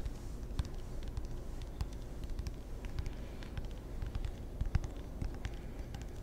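fingertips tap and scratch the rubber faces of a wooden-bladed table tennis paddle, making a quiet, irregular patter of soft, dull taps with brief bright ticks. Each tap is dry and stops almost at once, over a steady low rumble. One slightly louder tap lands near the end.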